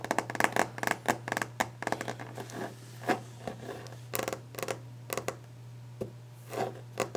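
Long orange nails tap and scratch fast and aggressively on a solid, polished, varnished wooden desk top, close up. Sharp, dry clicks come in quick bursts with bright attacks, separated by softer scratching and rubbing sweeps, over a steady low hum.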